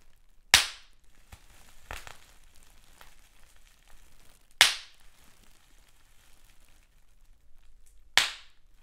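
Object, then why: Plastic bubble wrap. Fingers squeeze clear plastic bubble wrap with large air bubbles, popping individual bubbles. Three sharp, bright pops sound several seconds apart, each dying away almost at once, with soft plastic crinkling and faint squeezing between them.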